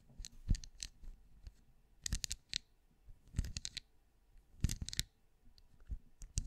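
Long glossy nails on both hands tap and scratch the ridges of a glowing, cone-shaped hollow night lamp with a stacked, ridged, translucent plastic-like shell, held up close. Sharp, dry clicks and brief bright scratches come in quick clusters, each with a soft low thump underneath. The hits die away almost at once, with quiet pauses between the bursts.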